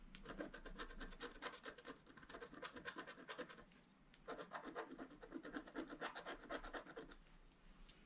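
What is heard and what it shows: A wooden stylus scratches fine lines around the flowers in the centre of a flat, black-coated scratch-art sheet, about A4, lying solid on a table. Quick, dry scratching strokes come in rapid succession, break off briefly near the middle, then resume in a second run before fading at the end.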